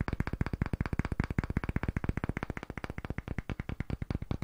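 A light, palm-sized pale solid wood disc block is held in both hands and tapped very rapidly with fingertips and nails. Thirty-six quick, dry, low taps with almost no ring follow one another in a steady, fast stream.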